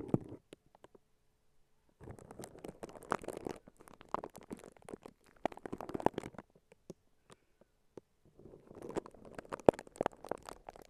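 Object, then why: Plastic cling film. Clear plastic cling wrap wrapped around a microphone is held in both hands while fingertips and nails squeeze, scratch and crinkle the film. Dense bursts of crisp crackling and scratching come in three long stretches separated by brief quiet gaps, with short sharp crinkles scattered between them.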